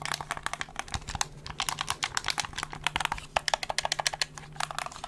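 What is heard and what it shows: A handheld black plastic gamepad with a hollow shell is held in both hands close to the mic while its buttons and triggers are pressed and clicked and the shell is tapped with fingertips. Rapid, crisp clicks and taps land in an uneven rhythm, each one short and bright with almost no ring, over a faint steady low hum.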